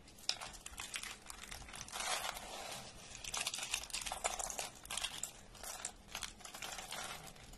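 Handfuls of thin, dry orange soap flakes are crushed and crumbled between the fingers of both hands. The result is a dense, bright crinkling crunch of many tiny crackles that swell and fade in waves, with almost no low end and no ring after each crackle.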